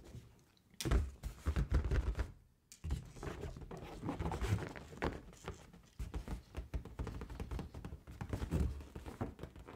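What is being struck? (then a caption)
Inflated latex balloon. Long gold-painted nails tap and scratch the surface of a large inflated pink latex balloon, hollow and air-filled, held close to the microphone. The result is a dense run of dull, low, boomy thunks with short rasping scratches between them, dropping to near silence for a moment before continuing.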